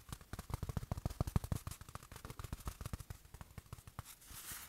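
A small, soft, padded black velvet-like fabric watch cushion from a watch box is squeezed in the hand and tapped and rubbed with fingertips. A rapid run of dull, low, muffled taps fills most of the clip. It ends in a soft, bright, brushing hiss of fingertips rubbing the fabric.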